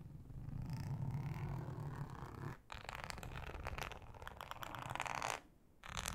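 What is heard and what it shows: Long nails scratch slowly across a thin, flat, solid yellow ribbed flexible plastic cutting mat, making a low, rough, rumbling rasp with bright scratchy streaks. The sound breaks off briefly near 2.6 s and again around 5.4 s before the scratching resumes.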